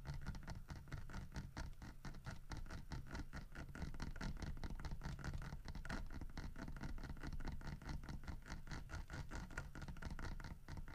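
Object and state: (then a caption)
Carved wooden bear figurine. Fingertips and nails scratch and tap the textured carved fur of a large, solid wood bear figurine holding a painted fish in its mouth, held on a wooden table. A steady stream of rapid, dry scratching taps with a dull, low-heavy body and very short decay continues at an even, quiet level throughout.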